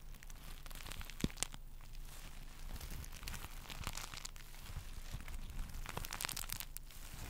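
A small, soft pillow covered in reversible pink sequins is held in both hands while fingertips and nails scratch and flip the sequins. The result is a steady, dense crinkling and scratching with bright, rapid clicks and a few sharper snaps, over a quiet low hum.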